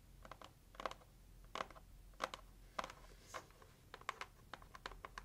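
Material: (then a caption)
Cardboard. Long acrylic nails tap quickly on the lid of a hollow, pink, heart-shaped cardboard gift box. About twenty short, dry, clicky taps come in loose clusters, with a papery midrange knock near 1 kHz and no ring. The taps are quiet and sit over a faint low background hum.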